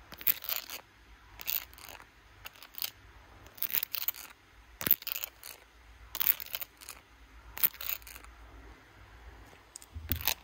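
Long blue acrylic nails tap and scratch across the back and camera bump of a handheld smartphone in a clear glitter plastic case, held close to a mirror. Quick, bright, crisp clicks come in irregular clusters, mixed with short scratchy, crinkly bursts over a quiet background, each tap dying away almost instantly.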